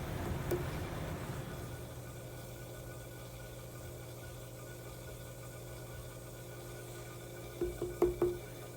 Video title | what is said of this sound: Wheel 1 - Trimming the ramen bowl | you can actually hear the thickness that sounds good like it'll sound kind of hollow when you tap on it